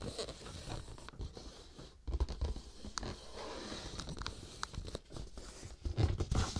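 A cardboard tissue box lying on a dark cloth is turned by hand while fingernails scratch and rub its printed surface. The result is soft, irregular scratching and rustling with short, dry taps, plus low, dull thumps that swell louder around the two-second mark and again near the end.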